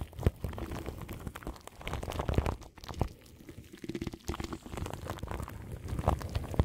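Long nails scratch and tap crinkly plastic film wrapped around the grille of a large microphone. The result is a close, muffled stream of crinkling, rustling and soft scratches, heavy in the low end with little brightness. Quick taps pop out along the way.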